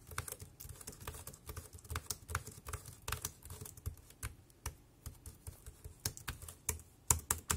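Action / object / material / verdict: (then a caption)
tap / plastic computer keyboard / plastic / none. Fingertips type on the keys of a dark grey plastic compact wireless keyboard, producing a steady stream of short, dry clicks and clacks in an uneven rhythm. Each keystroke pairs a soft low thump with a bright tick that dies away almost instantly. A few sharper, louder strokes stand out toward the end.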